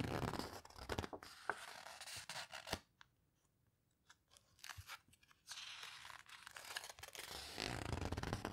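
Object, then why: Hardcover paper book. Pages of an open hardcover paper photo book are turned and squeezed by long nails and fingertips, making dry rustling, crinkling and scratchy clicks. The sound drops to a near-silent stretch with only a few soft ticks in the middle, then the bright paper rustling and scraping return steadily to the end.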